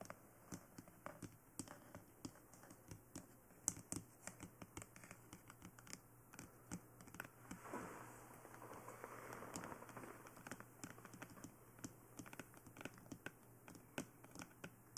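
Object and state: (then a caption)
Hard plastic dummy head tapped with nails. Fingertips and long nails tap and scratch the sides and ears of a glossy black hard plastic dummy head microphone, giving about 35 sharp, bright, very short clicks over a faint steady low hum. Around the middle, the taps give way to a softer, continuous scratching rub before the quiet tapping resumes.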